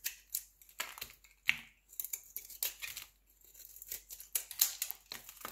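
A solid square green soap bar with a brown rind is held in the hand while flakes are shaved and scraped off it with a utility knife blade. It makes a quick series of dry, crisp scraping and shaving strokes, almost all high and bright with no low end. The strokes are quiet and stop short, with pauses between them.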